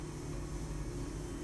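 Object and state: Nothing is struck.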